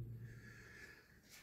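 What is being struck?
Nothing is struck.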